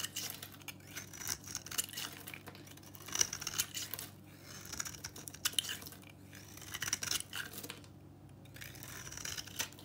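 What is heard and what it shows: A utility knife cuts and scrapes a solid, dry pink bar of soap held in the hand. The blade makes crisp, bright, crumbly scraping and crackling in short bursts, with small sharp snaps between quieter grating strokes.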